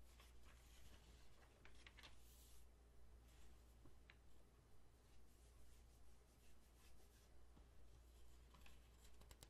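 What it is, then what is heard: Glossy paper magazine. Flat fingertips rub in a soft, rhythmic swish across the page of an open glossy paper magazine, then the page is turned with a brief bright crinkle. The quiet, steady paper rubbing continues on the same magazine over a constant low hum.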